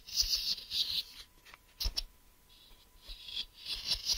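Fingernails tap and scratch the flat surface of a hollow grey translucent plastic case near its ridged edge while it is held in one hand. Bright, hissy scratching bursts come in uneven patches, with quick clicky taps and short, dry decays between quieter pauses.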